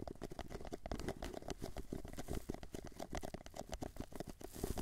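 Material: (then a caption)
Paper. An empty, small, hollow white paper cup is held in both hands while fingertips tap its sides, then it is tilted and its base is tapped. The result is a quick, steady patter of soft, dull, hollow taps that stop dead with no ring, sitting mostly in the low end.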